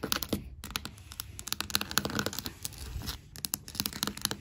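Long black matte nails tap and scratch quickly across large, solid hardwood floor planks. Bright, dry clicks and short raspy scrapes with almost no ring run in a dense, uneven stream, with brief pauses near the start and about two-thirds through.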